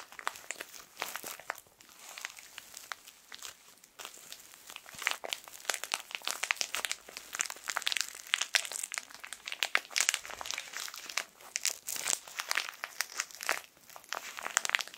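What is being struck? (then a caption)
Plastic film tissue packet. A full, small, colorful printed plastic-film tissue pack is squeezed and crinkled between fingertips. It makes a dense, continuous stream of sharp, bright crackles and crinkles with almost no low end. The crackling grows busier and louder after the first few seconds.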